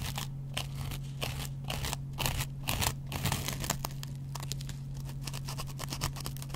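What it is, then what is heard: Dry cellulose sponge scraped with a razor blade. A metal double-edge razor blade scratches the yellow foam edge of a dry, hand-sized kitchen sponge made of yellow cellulose foam with a green scrub layer. Quick, irregular dry scraping and crunching strokes with a bright, crackly texture repeat throughout, over a steady low hum.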